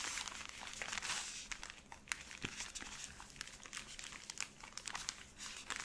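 A full, soft cylindrical pack of 120 cotton pads in thin plastic wrap is held in both hands and squeezed and crinkled with fingertips and long painted nails. Continuous bright, crisp crinkling is heard, with sharp ticks and taps scattered throughout and almost no low end.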